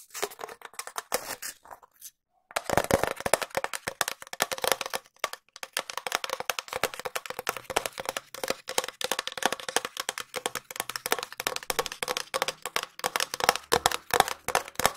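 A long, empty, hollow cardboard tube is tapped fast with long nails close to the mic. The result is a dense run of dry, sharp clicks with a hollow mid-range tone and a bright edge, and each tap dies almost instantly. The tapping pauses briefly around the two-second mark, then resumes steadily.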